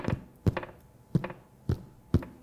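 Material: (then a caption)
Bread. A freshly baked pain de mie loaf of white sandwich bread, just turned out of its pan, is tapped five times, giving short, dull, low hollow thunks with almost no ring. The hollow sound shows the loaf is done and baked through.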